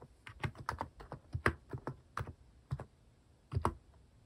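Fingertips type on the plastic cat keycaps of a compact plastic mechanical keyboard, which starts idle before the keys are pressed. The keystrokes are short, soft, low-toned clacks with quick decay, coming in irregular bursts with pauses between them.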